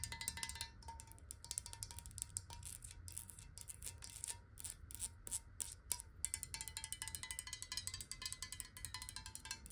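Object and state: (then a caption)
Glass water bottle. Long nails tap rapidly on the sides and base of a clear, hollow, square glass bottle holding water while it is rotated. The result is a quiet, dense stream of bright, crisp clicks over a faint, steady glassy ring and a low background rumble.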